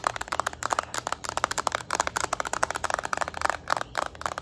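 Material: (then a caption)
Plastic. A yellow Nintendo Switch Lite's small, hollow plastic back shell, held in both hands, is tapped with long acrylic nails. There are 19 quick, dry clicks with almost no ring, centered around 1.2 kHz with some bright high edge.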